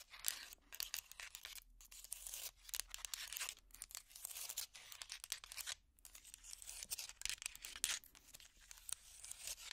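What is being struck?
Hot pad of small strung wooden blocks.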